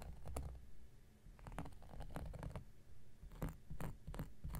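An X-Acto knife blade is scratched across a round, flat, solid cork coaster. The result is a quiet series of short, dry scratching strokes with a soft low rumble beneath them. Each scrape stops almost at once with no ring.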